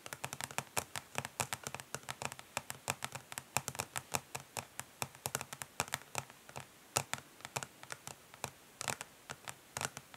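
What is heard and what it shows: Long nails on both hands tap fast on the back of a flat, rectangular, hollow plastic eyeshadow palette lying face down on a grey surface. The result is a rapid, irregular stream of bright, crisp clicks, each dying away almost at once, with a light hollow plastic ring and little low end.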